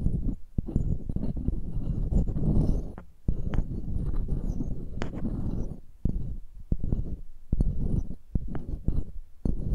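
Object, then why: Metal mesh microphone grille tapped and scratched with pearls. Pearls held in long-nailed fingers tap and scratch the mesh grilles of two identical silver metal microphones. Heard up close are dense, muffled low thumps and scratchy rustling, with quick short taps cutting through in irregular bursts.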